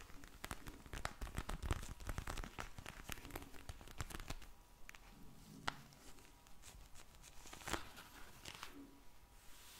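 A pink vinyl eye mask filled with gel beads is held in the hands and slowly rubbed and scratched with long blue nails. This produces a steady run of dry crinkling and crackling ticks over a soft, low, rustling rumble. The sound is densest and loudest early on, then thins to scattered sharper snaps.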